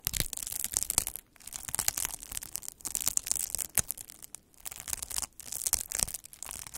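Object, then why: Plastic bubble wrap sheet rolled over with a needle roller. A hand-held metal-needle derma roller is rolled back and forth across a large sheet of clear, air-filled plastic bubble wrap, crushing and pricking the bubbles. Dense, bright crackling and crinkling snaps come in bursts, with brief quiet gaps between strokes.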